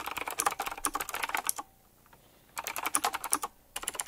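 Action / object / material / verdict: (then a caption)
tap / mechanical keyboard with round plastic keycaps / plastic / none. Fingertips type quickly on a full-size typewriter-style mechanical keyboard with round black plastic keycaps, chrome-look rims and a metallic frame. Rapid, bright clicky taps come in two dense bursts with a quiet pause of about a second between them, then resume briefly at the end. Each tap is short and dry, with almost no low end.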